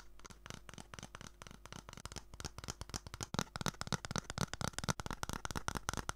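An empty, hollow brown cardboard toilet roll tube, about 10 cm long, is held upright in one hand and tapped and scratched with long manicured nails. Quick, dry, irregular taps with a hollow low body mix with bright scratchy rasps. Each tap dies almost instantly.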